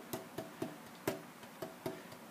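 Tapping on the braced maple top of a jumbo guitar before the braces are scalloped, checking its tap tone. Seven short, bright knocks (the last cut off at the end) ring briefly around a 380 Hz pitch with a lot of high and upper-mid tone. The top sounds big and bright, and the braces are to be shaved to bring out more bass and lower mids.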